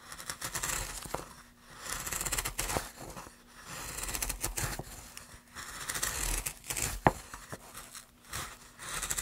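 A wooden-handled gouge held in gloved hands carves many short cuts into a solid pine plank. Each cut gives a dry, bright scraping and tearing swell with crisp, fast-fading wood-fiber crackle, over a faint steady low hum.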